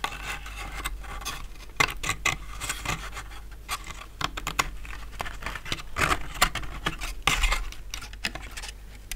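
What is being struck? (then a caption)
Laser-cut plywood model boat hull. Fingertips and short nails tap and rub along the sides and deck of an empty, medium-sized, hollow, laser-cut light plywood sailboat hull resting on a fabric mat. Dry, scratchy rubbing runs throughout, broken by sharp, light, woody taps with a hollow tone around 2.1 kHz that die away quickly. Brighter clusters of taps cluster around the 2, 6 and 7 second marks.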